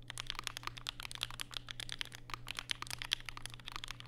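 Fingertips type rapidly and continuously on a compact black mechanical keyboard with plastic keycaps and POM switches, resting on a desk mat beside a white wrist rest. About 27 sharp, bright clacks land in quick succession, each dying out almost instantly, over a steady low hum.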